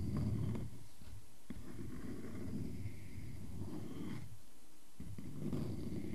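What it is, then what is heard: Wooden log slice. A solid wooden tree-trunk slice is handled: nails scratch its bark edge while it is held, then fingertips tap and scratch the cut face as it rests on a table. The result is a dense, low, rumbling scraping texture with faint brief taps.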